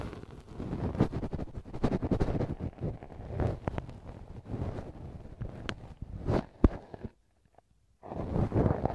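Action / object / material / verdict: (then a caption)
scrape / silicone ear model scratched with a wooden ear pick / silicone / none. A wooden earpick makes repeated scratching strokes inside the soft, hollow canal of a left silicone ear model mounted on a binaural microphone. The strokes come through as close, muffled, low rumbling scrapes with sharp crackling ticks. They break off into near silence for about a second before resuming.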